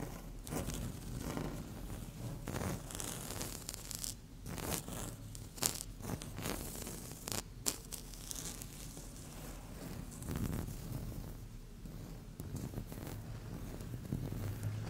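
Long fingernail tips scratch a flat, solid, speckled beige laminate tabletop in short strokes. The result is a dense run of bright, raspy scrapes and ticks over a steady low hum, with brief sharp peaks standing out among the strokes.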